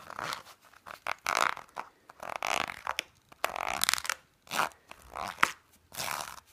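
A black, soft, padded fabric pouch with a textured surface is held in the hand and scratched with fingernails. The result is a series of dry, rustling scratches in short bursts separated by brief pauses, with mostly mid and high frequencies and no low end.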